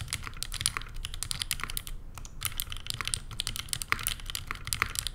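Steady two-handed fingertip typing on a Neo87 mechanical keyboard with an aluminum case, plastic keycaps and JWK Lilac switches, resting on a desk mat. The rapid keystrokes give crisp, bright clacks over a low thocky body, each dying away almost instantly, with a brief lull near the two-second mark.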